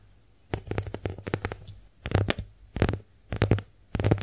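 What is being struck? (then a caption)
Porous konjac face sponge. Long nails tap and scratch across the porous surface of a pink, heart-shaped konjac face sponge held in the hand. A run of quick, soft taps is followed by four denser bursts of scratching, each a dull, muffled patter weighted toward the low end with very little brightness. Each touch dies away almost instantly.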